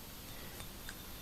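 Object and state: Nothing is struck.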